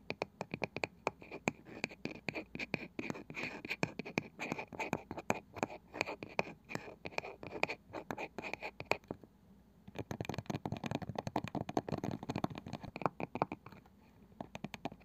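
Long nails scratch and tap on the light wooden lid of a small round box with a woven cane side, likely hollow. Rapid, crisp, dry clicks and scratchy rustles run steadily with a mid-range body and a bright edge, pausing briefly near the middle before resuming.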